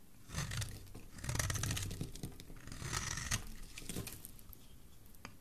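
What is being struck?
Bar of soap scraped by a metal blade.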